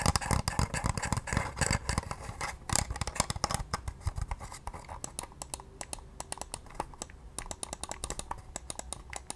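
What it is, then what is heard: Plastic computer mouse. A small, pale pink, hollow plastic wireless mouse is held in both hands and tapped and clicked with long nails. Rapid, irregular, dry ticks and clicks come in dense bursts at first, then thin out into sparser, sharper taps. Each tap has a dull, hollow low thump under a bright click and dies away almost at once.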